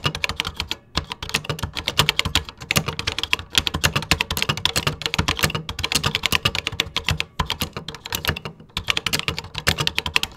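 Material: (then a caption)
Plastic. Fingertips type rapidly on the plastic keys of a 1980s computer keyboard. The result is a dense, steady stream of short, bright clicks and clacks with a little low thump beneath, broken by a few brief pauses.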